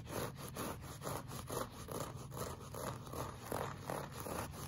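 Short fingernails scratch a solid, flat beige looped-pile woven rug in a repeated clawing motion. Each stroke gives a soft, dry scraping rasp in a quick, loosely even rhythm, with a low rumbling body and little high brightness.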